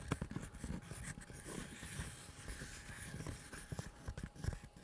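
A small, empty, tan-brown tooled leather pistol holster, hollow and stiff, is held in both hands close to the mic and tapped and scratched with the fingertips and nails. Soft, dull low-pitched taps with quick decay are heard over a faint, steady scratching hiss.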